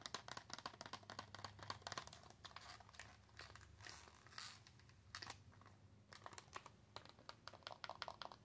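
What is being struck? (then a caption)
Cardboard-backed plastic blister pack. A flat L.A. Colors Nail Frill pack of press-on nails, a cardboard backing with a plastic blister over the nail tips, is tapped and scratched with long acrylic nails. Rapid, crisp clicks mix with crinkly, bright scratching at a low level. A ringing tone near 1 kHz sits under the steady run of light, quick taps.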